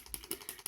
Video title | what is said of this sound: Makeup pour une balade au soleil ! #50ans #makeup #tutomakeup | Vous entendez, il y a une petite bille à l'intérieur.